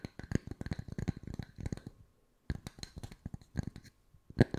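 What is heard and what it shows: Wooden discs are tapped with the fingertips at mixed speeds, giving quick runs of short, dry, low-pitched taps that die away almost instantly. After a brief silent pause the tapping resumes more sparsely, ending with one louder tap.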